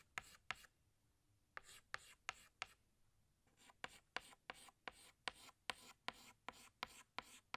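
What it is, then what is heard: Chalk on a blackboard. A yellow chalk stick retraces lines on a flat black chalkboard with short rubbing strokes, making 17 quick, bright, scratchy strokes. The strokes come in a pair, a group of four, then a steady run of eleven after a short pause, each dying away almost at once with little low end.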